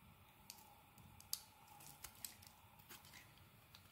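A utility knife blade scrapes and shaves the surface of a solid rectangular black soap bar held in the hand. Eight quiet, sharp, bright scraping clicks stand out over a faint crackling hiss, each dying away almost at once.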